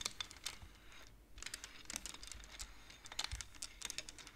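Long nails tap and slide the painted wooden beads of a wooden abacus. Quiet, sharp, bright clicks come in an irregular patter, with a brief lull just after the first second. Each click dies away almost instantly.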